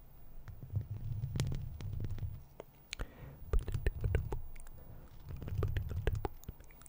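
Long plastic fake claw nails on both hands scratch across a hollow metal mesh microphone grille. Deep, rumbling swells of low scraping rise and fall, broken by sharp, bright clicks and ticks as the nails catch the mesh.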